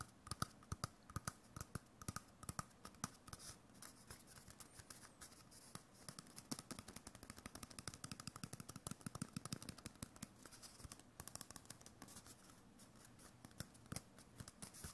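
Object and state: Paper-covered cardboard tube.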